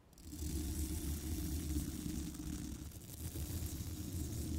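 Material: Steel mesh.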